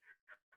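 Three quiet, short taps on a container filled with water, each a dull knock centered around 1.4 kHz that dies away almost at once. The full container gives only a weak sound compared with tapping it once the water is finished.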